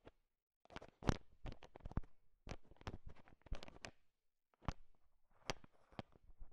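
A bowl heaped with small, hard, sugar-shelled peanut M&Ms is stirred and tapped with a thin wooden stick, mixing the candy. Quiet, dry clicks and rattling taps come in bursts with short gaps, each sharp and without ring, over a soft low rumble.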